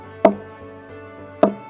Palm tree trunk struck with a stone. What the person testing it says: When you knock it like this with a stone, it gives you sound. Why it gave you that sound? Because it's hollow inside.